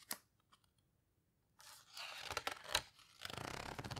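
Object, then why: Large book with heavy paper pages. In a large open Paper Houseboat photo book with heavy paper pages, a faint tap and a few soft ticks are followed by a second of quiet. Hands then flip a page with a dry, bright papery swish and sharp crackles. Fingertips rub and squeeze the paper in a sustained, crinkly rustle to the end.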